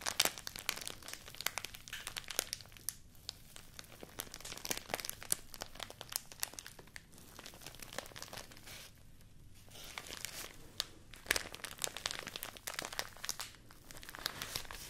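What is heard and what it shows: A small folded stack of thin white rice paper is squeezed, crinkled and rubbed with fingertips and nails. The result is a steady, quiet stream of bright, dry crinkling and crackling, broken by many sharp, short snaps and brief softer pauses. There is very little low end.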